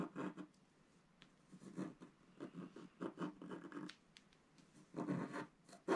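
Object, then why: Black-coated scratch-art card scraped with a wooden stylus. A wooden stylus scratches across a flat black-coated scratch-art card. Short, dry, raspy strokes come in uneven bursts, with a grainy body in the low mids and faint bright streaks, separated by quiet pauses. The final strokes are the loudest.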